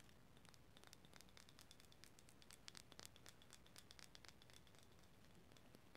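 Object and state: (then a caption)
Wooden cylinder box scratched and tapped with nails. A small turned wooden cylinder box, likely hollow, is held in the hands and scratched and tapped with long green nails. Quiet, steady crackly scratching runs throughout, dotted with many short, bright, dry clicks over a faint low rumble.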